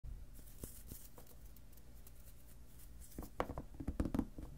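Fingertips and short nails tap and scratch the lid top of a shoebox-sized clear plastic storage box with a lid, full of papers and ephemera, lying on a cutting mat. Quiet, soft scratching over a low background rumble gives way after about three seconds to a cluster of short, dull taps with brief bright clicks.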